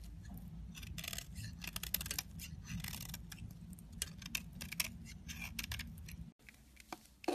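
A solid yellow soap bar with an embossed logo is held in hand and scraped with a metal craft knife blade. Bright, crisp scraping strokes come in quick bursts over a steady low hum, then drop out abruptly near the end before a final loud scrape.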